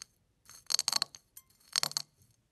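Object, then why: Eggshell flakes crushed by fingertips. Fingertips press, rub and crush a pile of crushed eggshell flakes. They give off dry, bright crackling and crunching in two main bursts, with faint scratchy rustles between them and no ringing afterward.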